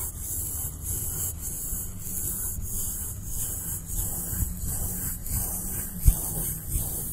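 A wide bristle paintbrush rubs and sweeps back and forth across the textured surface of a flat blue polystyrene foam board lying on a table. The result is a steady, soft scratchy brushing with a low rumbling body and a faint bright hiss, with strokes rising and falling in rhythm. A brief sharp tick stands out near the end.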